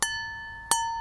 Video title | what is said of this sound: Val & Al Fundamentals 1 | you can hear that clear ringing